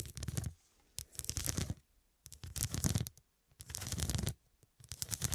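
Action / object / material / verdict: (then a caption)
scrape / fabric cushion covered in faceted glass studs / glass / none. Long, dark, pointed nails scratch across a medium fabric cushion that is soft and filled and covered in square faceted glass studs. The scratching comes in five rapid, uneven bursts separated by short silences, giving a crisp, bright clicking rasp over a soft, dull low rumble.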